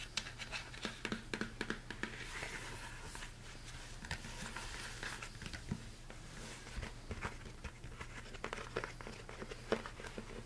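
A large, empty, hollow mixing bowl with a rolled rim, most likely plastic, is held upright in both hands while fingertips and nails tap and scratch its inner wall and rim. The result is a steady stream of quick, dry taps with short-lived ring and soft scratching, over a constant low hum.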